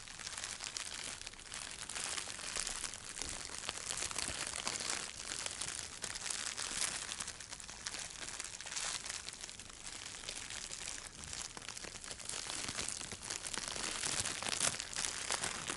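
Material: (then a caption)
Plastic. A small, light, hollow wad of clear plastic bubble wrap is crumpled and squeezed in both hands. It makes a steady, dense crinkling and crackling that stays bright and hissy, with almost no low end. The sound swells and eases slightly in waves across the clip.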